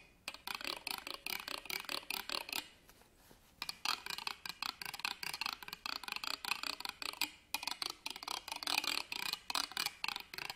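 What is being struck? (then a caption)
Ribbed metal purse clasp frame. An embroidered fabric purse stands upright on a table while a black pen scratches rapidly across its ribbed metal clasp frame. The result is quick runs of bright, raspy ticking strokes centered around 2.5 kHz with almost no low end, and brief pauses near 3 seconds and 7.5 seconds.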